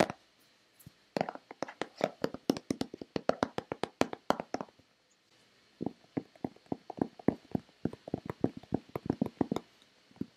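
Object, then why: Plastic lotion bottle. A hollow white plastic Nivea lotion bottle is tapped with long red-painted nails, giving quick, dry, hollow clicks with almost no ring. The taps come in fast irregular bursts, pause briefly near the middle, then resume at a similar pace.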